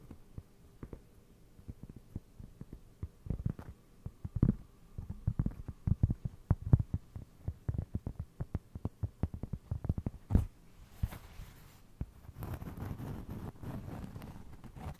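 A round solid cork trivet resting over the mic is tapped and scratched with fingernails, giving dense, dull low thuds with almost no ring. The taps come in quick irregular bursts, then give way near the end to a steadier rough scratching texture.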